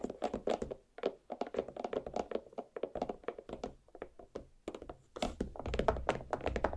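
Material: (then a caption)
Watermelon rind. Nail tips from both hands tap quickly across the rind of a large, solid watermelon half resting on a plate. Each tap is a short, dull thunk with a hollow mid-range tone around 650 Hz and almost no ring, and the taps run in close bursts. The pace grows denser and louder toward the end.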